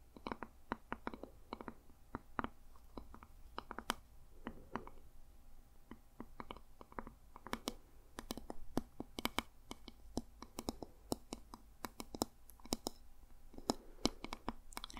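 Fingertips and nails tap on the plastic back of a hand-sized, hollow, purple and grey plastic paddle-style hair brush with bristles. Dozens of quick, sharp clicks come in irregular bursts, each dying away almost at once. They have a hollow low-mid body and bright edges over a quiet, steady background.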